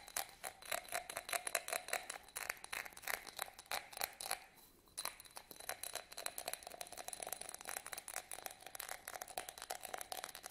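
Fingernails scratch quickly across a small, hollow, empty yellow studded glass votive candle holder held in the hands. The result is a dense run of bright, clicking scrapes with a faint glassy ring around 680 Hz and high overtones. The scratching pauses briefly near the middle before resuming.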